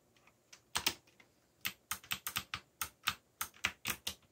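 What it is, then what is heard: Plastic mechanical keyboard. Fingertips type steadily on a backlit mechanical keyboard with black plastic keycaps. The separate key presses give short, sharp, bright clicks with almost no ring, some landing as quick double taps before brief pauses.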